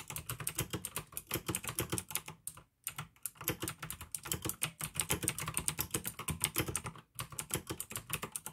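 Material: Plastic.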